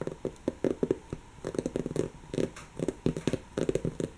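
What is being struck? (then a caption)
Stuffed woven-fabric cushion. Long natural fingernails scratch a soft, stuffed, brown textured woven-fabric cushion, producing quick, dry scratching strokes grouped in rhythmic bursts. The scuffs are soft and muffled, centered in the low-mid range with faint high hiss, and each one stops almost at once with short pauses between clusters.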